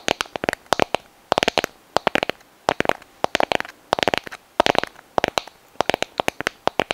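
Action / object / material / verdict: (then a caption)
tap / sand dollar shell / shell / none. Long nails tap and scratch the surface of a small, hollow, brittle white sand dollar skeleton held up in both hands close to the microphone. Clusters of rapid, dry, crisp clicks come in short bursts separated by brief pauses, each click bright and ending almost instantly, with a faint mid-range tone underneath.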